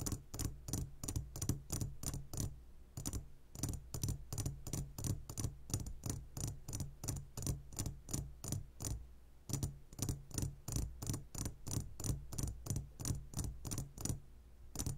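Fingertips tap the walls of a clear glass jar full of gummy candies, making a quick, slightly uneven run of about 46 short, bright ticks, roughly three per second. Each tap is a crisp click with a brief glassy ring that fades almost at once, over a steady low hum.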